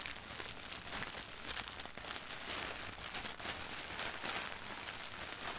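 Crumpled white printed tissue wrapping paper lying on a carpet is pressed, rubbed and scratched with long nails and flat hands. The result is a steady, soft, continuous crinkling and crackling rustle, bright and hissy with little low end.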